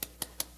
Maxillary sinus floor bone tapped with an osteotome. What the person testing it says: The sound is a lot softer. It's no longer resonant.